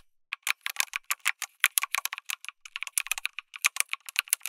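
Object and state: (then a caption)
Mechanical keyboard with plastic keycaps. Fingertips type continuously on a backlit mechanical keyboard with plastic keycaps, an FR4 plate and tactile switches. About 28 quick, bright clacks come in an uneven rhythm, with a short pause near the middle. Each keystroke is dry and crisp, centered around 2 kHz with no low end, and dies away almost instantly.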